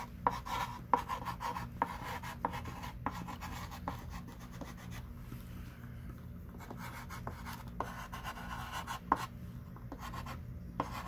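A thick stick of pink chalk writes words on a small wooden-framed chalkboard lying flat. Soft scratchy strokes run throughout, broken by sharp tapping dots with a brief tick near 1 kHz, over a low, steady background rumble.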